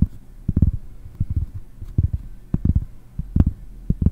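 One hand reaches over a round pressed-cork board and scratches and taps its back with fingernails close to the microphone. The result is an irregular run of short, dull, low thumps with soft scratching between them, with almost nothing bright in the sound.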